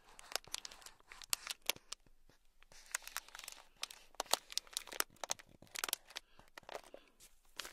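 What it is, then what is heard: Plastic bag of beads scratched. A thin black stick scratches a small, sealed, clear plastic bag packed full of tiny gold beads. Quick, bright, crinkly scratches and crackles come in irregular bursts, with soft rustling between them and almost no low end.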